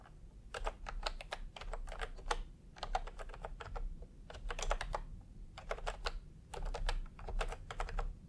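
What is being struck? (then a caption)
Plastic keyboard with round keycaps. Fingertips type in bursts of quick taps on a full-size plastic typewriter-style computer keyboard with round retro keycaps in peach and cream, lying on a white cloth. Each key gives a short, dry click with a bright edge and almost no ring. Brief pauses separate the bursts over a steady low rumble.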